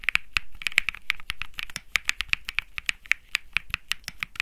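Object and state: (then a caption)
Mechanical keyboard with plastic keycaps. A 65% mechanical keyboard with light grey and peach plastic keycaps on a metal-looking case, sitting on grey felt, is typed on quickly by fingertips. The result is a fast, steady run of short, sharp, bright clicks centred around 2 kHz. Each tap dies away almost instantly, with a little low thump underneath.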